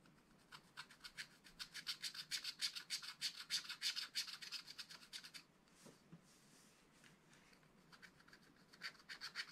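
A wooden stylus scratches hatching strokes onto the tree trunks of a flat, spiral-bound scratch-art pad with black-coated card. The quiet, bright scratching comes in rapid back-and-forth strokes, about three per second, then fades to softer, scattered scrapes for a moment before the quick strokes resume.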